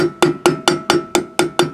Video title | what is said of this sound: RV CAMPER CHECKING WHEEL BEARING - BUDDY CAP GREASING BEARINGS | You can hear when it hits. It sounds solid.